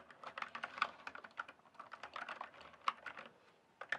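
Fingertips type and tap on the keys of a full-size backlit plastic mechanical keyboard with a hollow case. The result is a quick, uneven run of short, dry clicks and clacks, bright in the upper mids with almost no low end. A few louder strikes stand out near the middle and at the end.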